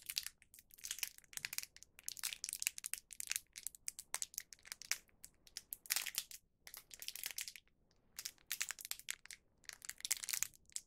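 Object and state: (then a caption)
Plastic snack wrapper being crinkled. A small printed plastic film packet holding one round cheese rice cracker (cheese okaki), still full, is pinched and crinkled with the fingertips of both hands. Bursts of dense, bright, high crackling with almost no low end come and go across the clip, broken by a few short quiet gaps.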